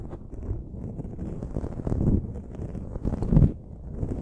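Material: Foam.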